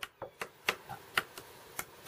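A mature bamboo culm is struck eight times to judge its age, giving short, dry, bright knocks centred around 1.4 kHz that die away almost instantly. The culm is judged old, since its sound alone is enough to tell old bamboo from young.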